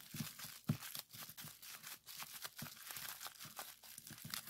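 A small sheet of clear plastic bubble wrap is rolled up and squeezed between the fingers to pop the bubbles. The result is a dense run of quick, sharp pops and crinkling snaps with bright high hiss. A few louder pops stand out, and each one dies away almost instantly.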